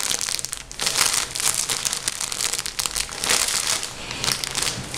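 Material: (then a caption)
Plastic. A full, blue-and-white printed soft plastic bag of cotton wool is crumpled and squeezed by both hands with fingertips and nails. Dense, bright crinkling and crackling rises and falls in bursts for about five seconds, with almost no low end.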